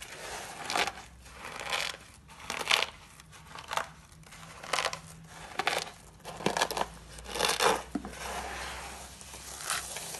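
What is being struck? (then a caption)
Dry soap flakes. A pile of cream-colored dry soap flakes, thin solid shavings, is pressed and crushed with fingertips with short pink-painted nails, then squeezed between both hands. Dry, crisp crunching and crackling comes in short, uneven bursts about once a second, bright and rustling with little low end. Each burst dies away almost at once into faint hiss between presses.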